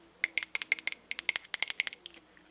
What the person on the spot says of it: he's got these neat ridges and he sounds like glass